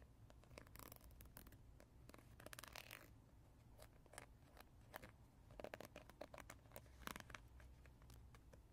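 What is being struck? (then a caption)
Gel-filled plastic teether ring. A hand-sized oval teether ring of textured, translucent green gel-filled plastic is held in the hands and scratched and tapped with fingertips and nails. The result is a quiet run of short, dry clicks and scratchy rasps, with brighter bursts of scraping scattered throughout over a low, steady background rumble.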